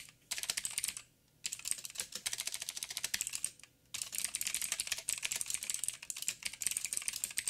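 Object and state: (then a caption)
Plastic mechanical keyboard. Fingertips of both hands type on a backlit 87-key mechanical keyboard with plastic keycaps and clicky blue switches. Rapid, bright, sharp clicks run in dense bursts with two brief pauses. Each keystroke dies away almost instantly.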